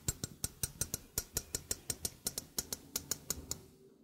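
A small hollow stainless steel sink strainer is held up while its rim and mesh are tapped with fingertips and nails. Twenty quick, bright metallic ticks land at an uneven pace, each dying away almost instantly over a faint low hum.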